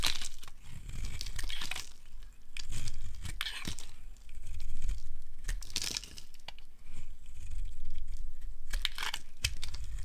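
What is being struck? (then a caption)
Bar of soap scraped with a metal blade. A metal blade scrapes the surface of a solid translucent amber soap bar held in hand, carving it into dry, crumbly shavings. Repeated bright, rasping scrape strokes crackle over a steady low rumble, each stroke ending with a brief crumbly crunch.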